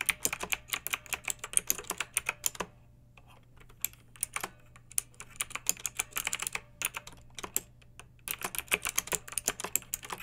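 Long nails and fingertips of both hands type on a pink backlit plastic mechanical keyboard with round typewriter-style keycaps, resting on a fluffy rug. Rapid, bright, crisp clicks come in bursts, with short pauses near the third and eighth seconds. A faint low hum sits steadily underneath.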